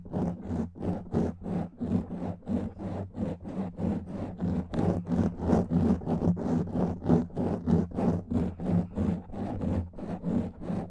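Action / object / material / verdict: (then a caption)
scrape / foam microphone windscreen / foam / none. Fingernails rub and scratch over a black foam microphone windscreen in quick, steady back-and-forth strokes, about three per second. Each stroke is a soft, dull, scraping rustle heavy in the low end, with a faint airy hiss on top and brief dips of quiet between passes.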